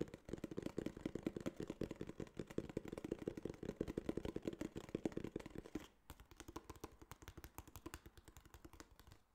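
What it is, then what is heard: Kraft cardboard box. A small, hollow, tan kraft cardboard case is turned in the hands and tapped rapidly with fingertips and nails. For about six seconds the taps come in a dense, fairly loud run with a dull, hollow thump. They then shift to quieter, sparser, slightly brighter clicks. Each tap is dry and stops almost at once, with no ringing.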